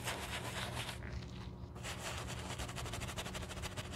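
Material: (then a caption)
Leather. A wooden-handled horsehair brush scrubs the foam-covered toe of a black leather shoe, making rapid, steady bristly swishes with a brief quieter pause near the middle. A low hum runs underneath throughout.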